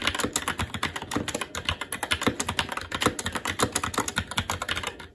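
Fingertips of both hands type continuously on a SteelSeries Apex 7 TKL mechanical keyboard with Red switches, black plastic keycaps on a metal plate, and a hollow RGB-backlit case resting on a desk. A rapid, steady stream of short, bright plastic clacks with a light hollow thud underneath fills the clip, each keystroke dying away almost instantly. The typing tapers off in the final moment.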